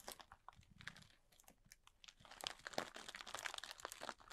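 Both hands scratch and squeeze the surface of a large clear plastic bag, full and tightly packed with small white polystyrene foam beads, using fingertips and short nails. The result is a soft, dense run of bright crinkles and crunchy crackles with short, dry ticks. It builds slightly busier and louder in the second half.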